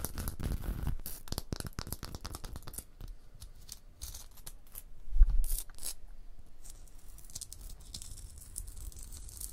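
A long blue nail scratches across limestone blocks and traces the mortar joint between them. Dry, gritty scraping comes in quick bright bursts over a low rumble, with one louder, deeper thump about halfway through. The scratching then settles into a softer, steady rasp.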